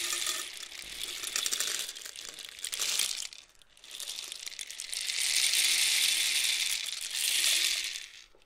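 A long, hollow painted cardboard rainstick with loose filling is tilted back and forth with both hands near the microphone. Its filling pours through in a bright, hissing cascade of tiny patters, like rain. A first pour dies away briefly around the middle, then a longer, fuller pour swells and fades to silence.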